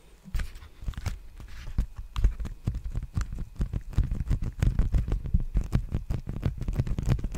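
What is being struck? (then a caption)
Plastic bubble mailer envelope. An empty, large black poly bubble mailer envelope is held upright at the microphone while fingertips tap and scratch it. A rapid, uneven run of short, dull taps with soft crinkly scratching between them comes through, heavy in the low end with little ring.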